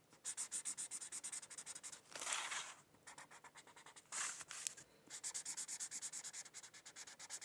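A white-barrel felt-tip marker rubs back and forth across a thin printed paper coloring sheet lying on a hardcover textbook, coloring it in. Rapid, bright, scratchy strokes come in steady bursts, broken by two longer, smoother rubbing passes.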